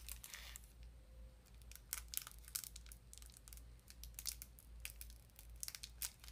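A small printed cardboard sardine box, likely with a tin inside, is handled and tapped with long nails. Sharp, bright crinkling clicks and taps come in irregular bursts over a steady low hum.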